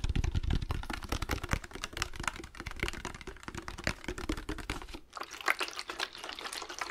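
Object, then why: Glass spray bottle with liquid. A hand-sized clear or amber glass spray bottle with a trigger nozzle, partly filled with liquid, is held in both hands and tapped fast with fingertips and nails, with some handling. Rapid, dense clicky taps with a low, hollow body run throughout, pausing briefly near five seconds before continuing with lighter, brighter taps.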